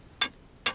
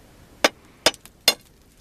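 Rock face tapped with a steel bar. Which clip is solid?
The first.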